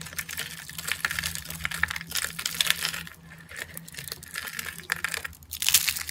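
Fingertips squeeze and crush small rolled rosettes of thin, dry green-and-white soap shavings on a granite surface, breaking them into brittle flakes. The sound is a dense run of crisp, bright crackles and crunches that eases briefly around the middle and then swells again. A faint, steady low hum runs underneath.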